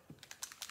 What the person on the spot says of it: you can hear the ball that's in there to shake it up